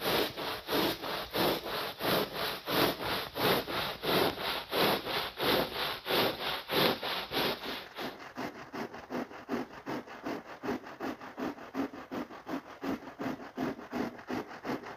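A stiff-bristled push broom scrubs a soapy, wet, ladybug-shaped red and black synthetic pile rug on the floor with long strokes. The result is a steady rhythm of bright, hissing swishes. About halfway through, the strokes turn quicker, quieter and thinner, with a wetter, squishier texture.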